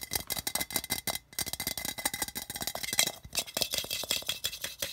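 Fingertips and nails tap and scratch quickly over the sides and rim of a hollow, apparently empty cylindrical metal tin with a colourful tile-pattern print, lying on a red carpet. The result is a rapid, steady stream of bright, thin metallic clicks and scrapes that stop almost instantly, with very little low end and a faint clinking ring.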